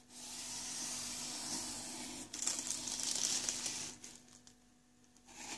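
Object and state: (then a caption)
Cardboard box being rubbed. Flat fingertips and a palm rub and slide across the top flap of a medium, empty-looking corrugated cardboard shipping box with open flaps, resting on a desk. The result is a bright, hissy scratching that holds steady, grows louder and rougher in the middle, then drops away to near quiet before picking up again at the end. A faint low steady hum runs underneath throughout.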